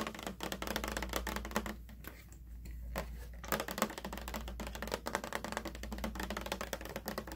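Fingernails tap rapidly on the sides of a large, light-blue, hollow plastic water jug with a strap handle that appears empty. The result is a dense run of short, dry clicks with a hollow tone around 215 Hz, pausing briefly near the middle. A steady low hum sits underneath throughout.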